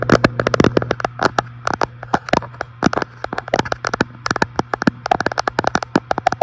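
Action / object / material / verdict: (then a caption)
tap / glass fireplace front panel / glass / none. Fingertips tap rapidly and irregularly on the large, flat, solid glass front panel of an electric fireplace. Each tap is short and crisp with almost no ring, over a steady low hum.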